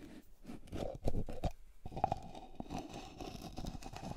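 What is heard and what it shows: A closed, medium white plastic cream jar with a blue screw lid is held in the hand while long nails scratch and tap its side. Dry, crunchy scratches and short scraping strokes mix with quick, dull taps. A faint hollow tone sits around 780 Hz and stands out in the second half.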